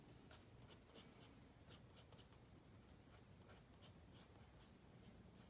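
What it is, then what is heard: Pencil shading on a paper sketchbook page. A wooden pencil makes short, rapid shading strokes on a page of a spiral-bound paper sketchbook resting on a wooden table. Quiet, dry scratches repeat in quick bursts, each with a bright, high hiss. A steady low background murmur sits underneath.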